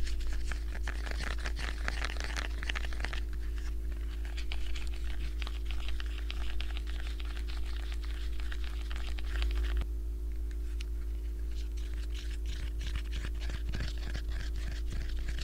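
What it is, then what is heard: Plastic remote control. Fingertips with dark-painted nails press, tap and scratch the colored rubber buttons and casing of a small handheld black plastic IR LED remote control held in the hand. A dense, continuous stream of soft clicks, crinkly taps and scratches runs the whole clip over a steady low hum.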